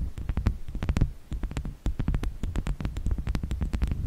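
A small, solid, round slice of natural wood with a bark edge, resting on a fluffy microphone windscreen, is tapped and scratched with the long nails of both hands. The result is a rapid, steady stream of short, dull, deep thuds with faint clicky tops, broken by a brief pause near the middle.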